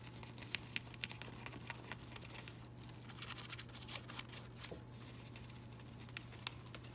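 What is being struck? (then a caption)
Artificial ivy leaves of thin plastic or fabric. Fingers with pink nails rub and crinkle the thin, flexible leaves of a variegated artificial ivy that look like fabric or plastic. The clip is quiet throughout, with soft rustling and crinkling broken by brief, bright ticks, all over a steady low hum.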